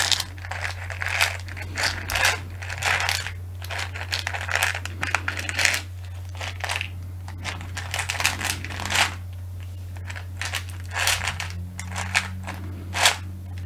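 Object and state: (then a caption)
Plastic box of push pins. A small, hollow clear plastic box full of colored push pins is held close and tapped and handled with long nails. Quick, bright plastic clicks and crinkly rattles come in uneven bursts, over a steady low hum.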